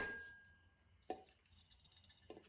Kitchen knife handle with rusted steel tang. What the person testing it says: 振ると音がしてマラカスみたいですね